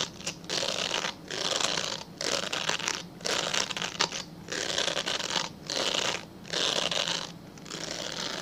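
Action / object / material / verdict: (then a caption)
scrape / glycerin soap bar / glycerin soap / none. Fingernails scratch a translucent solid glycerin soap bar held horizontally, making dry, bright raspy scratching. The scratching comes in repeated bursts of roughly a second each, separated by short quiet gaps, with a steady low hum underneath.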